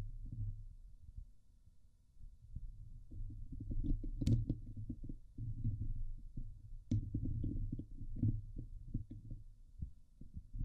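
Long nails scratch the top of a Blue Yeti microphone's hollow steel mesh dome grille. The scratching comes through as a deep, muffled rumble of rapid, throbbing scrapes, with a few sharper crackles that flash up bright. It rises and falls in loudness throughout.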